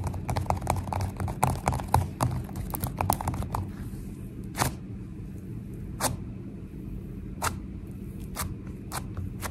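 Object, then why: Foam-bead slime. Long nails and fingertips tap fast on a soft, solid, sticky mound of purple foam-bead slime resting on a counter, with some pressing. A dense run of quick, crackly taps and squishy pops fills the first few seconds, then it quiets to a low, soft bed broken by a few sharp, bright clicks.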